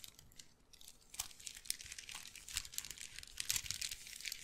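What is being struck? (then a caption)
Wooden bead handbag. A medium-sized, hollow, dark brown wooden bead handbag is squeezed, rubbed and scratched with fingertips and nails close to the mic, so the beads clack together. Quiet, dense, bright clicking and crinkly rustling run throughout, with sharper clusters of clacks standing out here and there and dying away almost at once.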